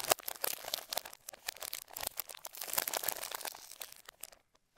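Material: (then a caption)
Plastic film. Gloved fingertips rub, smooth and peel a thin clear plastic film bag across the underside of a black Razer BlackWidow V3 65% mechanical gaming keyboard lying face down. Dense, bright crinkling and tearing rustles come in quick bursts with no low end. The rustles thin out and fade to silence near the end.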